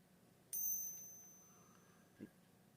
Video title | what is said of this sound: I Paid $1 Over Spot For All This Silver - But How Do I Know That It's Real? | the smaller that the coin gets the pitch gets just a little bit shorter